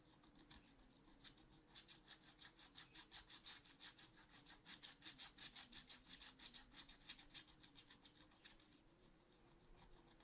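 A wooden stylus held in the fingers is scratched back and forth across a black-coated scratch art paper sheet in a small spiral notebook lying flat on a table, filling in a cactus pot. The sound is a quiet, steady series of bright, dry rasping strokes, about three per second, swelling and fading in loudness. A faint low hum sits underneath throughout.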